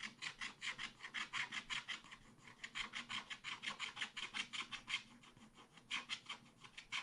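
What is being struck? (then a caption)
Coated scratch-art paper card scraped with a wooden stylus. A wooden stylus scratches the mountain area near a deer's antlers on a thin black-coated scratch-art card in a spiral pad. About 32 quick, dry rasping strokes sound in a brisk, uneven rhythm, with brief lulls around 2.5 and 5.5 seconds. The scratching is bright and high, centred near 3.2 kHz, with almost no low end.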